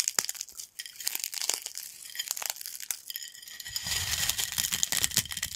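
Small dry yellow corn snack fragments on a black plate are broken further between fingertips and nails, giving dense, bright, crisp crackling and sharp snapping crunches. Partway through, a low rumbling layer joins the crackle as the crushing continues.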